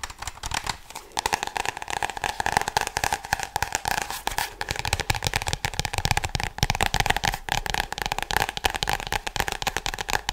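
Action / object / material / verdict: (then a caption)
tap / spiral-bound notebook with glossy cardboard cover / cardboard / none. A small spiral-bound tie-dye "To do list" notebook with a solid, glossy cardboard cover is held up and tapped and scratched with long blue nails and fingertips. The result is a continuous, dense run of quick, dry clicks and crackly scratches with a bright edge and a faint steady midrange tone underneath.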